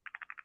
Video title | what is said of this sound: 2025-11-19 World Wide Wood Turners Meeting | it's loose right? I don't know if you can hear that. So I'm shaking it back and forth ever so slightly